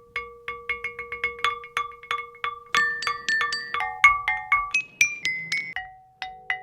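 Ancient shaped stone artifacts from the Great Sand Dunes, possibly 10,000 years old, are tapped as lithophones, purposely selected and shaped musical rocks rather than grinding tools, with each stone's pitch set by its length and width. About 26 quick taps ring out as clear, bell-like notes with short decays: first a repeated steady note, then a shifting run of higher, bright tones near 2.2 kHz.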